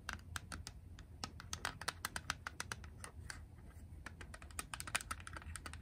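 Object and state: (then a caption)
Plastic game cartridge. Long press-on nails rapidly tap and scratch a small, hollow, grey hard-plastic Game Boy cartridge (Wario Land). The result is a quiet stream of sharp, bright plastic clicks that die out instantly, with a clicky ring around 1.5 kHz over a low, soft rumble.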